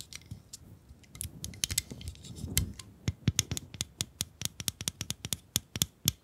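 Long acrylic nails tap and scratch the surface of a small, hollow, pink plastic bunny-shaped pencil sharpener with yellow ears, held in both hands with no pencil in it. Soft scraping and scattered clicks give way to a quick, steady run of sharp, dry taps, each with a bright click over a faint hollow knock that dies almost instantly.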